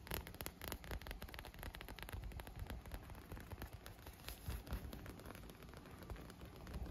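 Short nails and fingertips tap and scratch along the tubes of an inflated, air-filled striped clear PVC vinyl pool lounge that is wet with droplets. A dense, steady stream of quick, dull taps and crackly scratches is heard, with a low, hollow thump beneath them.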